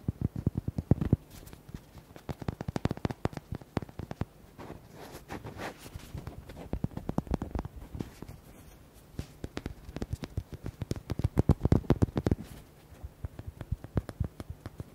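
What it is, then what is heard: Rubber duck toy. A small red hollow rubber duck with white hearts is held in both hands and tapped quickly with fingertips and nails. Rapid bursts of short, dull, low-pitched taps come in clusters with brief quieter gaps, each tap dying away almost instantly.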